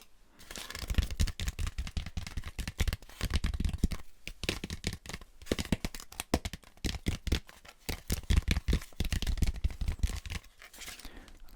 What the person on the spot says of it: 0:00 Styrofoam Head Tapping